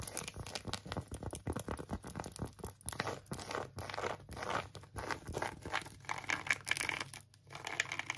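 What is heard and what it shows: Long acrylic nails scratch and tap on an empty pink phone case with a tweed fabric back and a silicone edge, including along the edge. The result is a steady run of quick, dry, crackly scratches and light taps with no ring.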